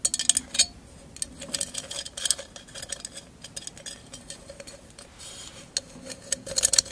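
A tall, hollow, empty candle holder covered in mirrored glass mosaic tiles is held in the hand and tapped and scratched with long acrylic nails. Sharp, bright clicks and taps come in clusters between soft, high scratching sounds, with very little low end and almost no ring after each tap.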